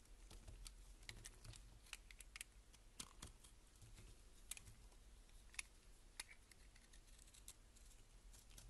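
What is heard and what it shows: A box-cutter blade shaves curls from the face of a solid beige laundry soap bar held in hand, giving quiet, crisp scraping strokes with sharp, bright ticks and snaps. The cuts sound dry and brittle over a steady low rumble, with no ring after each stroke.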